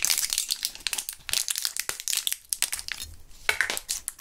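Gloved fingertips squeeze and press a small clear plastic blister pack of gum with a foil backing, some purple gum pellets still inside. Dense, bright crackling and crinkling of the plastic comes in quick overlapping bursts with very little low end.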